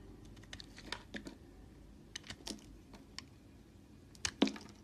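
A red utility knife scrapes dry flakes off the edge of a solid oval white bar of soap held in hand, while a second bar sits idle behind it. Short, separate crisp scraping strokes with bright, dry crackle come in quiet bursts over a low background hum. The last strokes near the end are the loudest.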